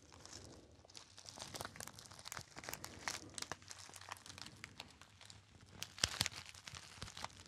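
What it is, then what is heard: Metallized foil pouch being crinkled. A small, hollow, apparently empty gold metallized foil pouch is crinkled and squeezed by fingertips. Dense, bright crackling bursts repeat throughout, with the sharpest crunches near the end.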